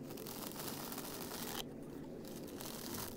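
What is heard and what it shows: A small fabric plush doll is squeezed and scratched with fingers and nails on its dress, giving a steady, soft crinkly scratching. The scratching briefly softens to a duller rustle in the middle before the bright scratching resumes.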